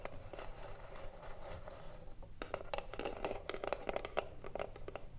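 Long nails scratch and tap the front face of a hollow, printed wooden cigarillo box held in both hands. A steady, dry scratching fills the first two seconds, then gives way after a brief pause to quick, sharp taps. Each tap has a short, hollow ring centered around 630 Hz.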